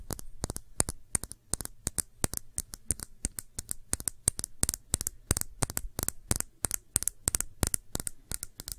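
Long nails tap and scratch a small, clear, thick-bottomed glass shot glass, hollow and empty, held on its side. A rapid run of dozens of sharp, bright clicks and short scratches comes with almost no ring, over a faint low hum.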